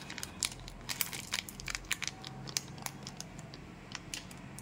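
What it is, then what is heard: Plastic foil candy pouch being crinkled. A small, colorful Cadbury Gems plastic-foil candy pouch filled with candies is held in both hands and crinkled with the fingertips while being torn open. Bright, sharp crackles and crinkles come in quick irregular bursts over a faint low hum, each snap dying away almost instantly.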